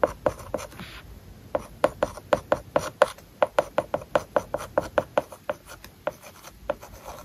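A plastic stylus writes on an iPad lying flat with a matte plastic paper-like film over its glass screen. About 25 short, dry taps and scratches follow each other quickly, with a papery tone near 600 Hz and brief rubbing strokes between them.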